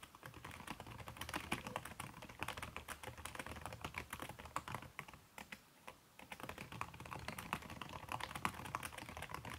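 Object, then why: Laptop keyboard, plastic keys under a silicone skin. Fast typing at over 100 words per minute on a backlit aluminium laptop keyboard with a red silicone skin over its plastic keys, struck with fingertips and long red-painted nails. A dense stream of soft, muffled clicks and taps runs steadily, with a brief pause just before the six-second mark.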